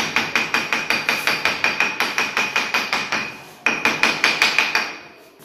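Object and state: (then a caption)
Solid, well-bonded porcelain floor tile. A mallet taps repeatedly on a porcelain floor tile at a kitchen entrance, producing a fast run of short, bright knocks with a ringing tone near 2.5 kHz and no low boom. There is a brief pause before another burst of taps. The tile sounds solid, not hollow, showing it is well bonded.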